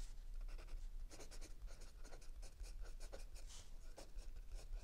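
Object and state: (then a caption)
Pencil writing on notebook paper. A mechanical pencil writes continuously on a lined page of a spiral notebook resting on a wooden table, while the other hand rests still on an open paperback. Quiet, bright scratching strokes of graphite on paper come in quick bursts over a steady low hum.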